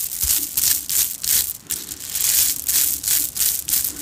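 Long dark-painted nails and fingertips rub, scratch and shake several strands of small, shiny red and green hollow plastic Mardi Gras bead necklaces worn around the neck, working the strands against each other. The result is a fast, irregular run of bright, hissy rattling and clicking bursts that swell and fade with almost no low end.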